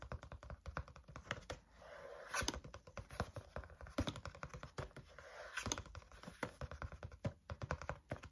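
Fingertips tap rhythmically on the front cover of a green-covered spiral notebook held at an angle. The result is a steady run of quick, dry taps with short hollow thumps and a light papery brightness, settling into soft rustly pauses between bursts.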